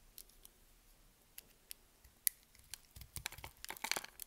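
A metal blade scores a hand-sized, solid yellow bar of soap held in the hand, cutting it in a chevron pattern. Short, crisp, high-pitched scraping cuts come sparsely at first, then faster and louder toward the end.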